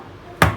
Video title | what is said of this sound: Whole Wheat Beetroot Bread | When you tap it, you should feel hollow